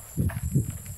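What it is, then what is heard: Mature coconut with water sloshing inside. A coconut freshly hooked down from the tree is shaken, and two dull, low sloshing pulses of the coconut water moving inside are heard, with a faint steady high tone in the background. The audible slosh marks the coconut as mature enough to make coconut milk (gata).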